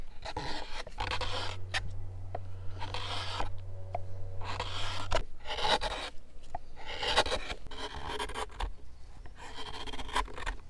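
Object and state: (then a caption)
Pine bowl being carved with a hook knife. A hand-held steel hook knife scrapes and shaves the inside of a deep round hollow carved into a pine softwood block. Repeated rasping strokes give bursts of broad, bright scraping noise with short pauses between them. A steady low hum sits underneath through the first half.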